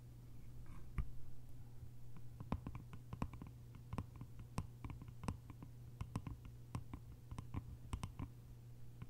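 Long nails tap and scratch the top of the lid on a small, hollow, cylindrical bamboo container with a lid. Many quick, dry clicks come in uneven bursts over a steady low hum and soft scraping, and each tap dies away almost at once.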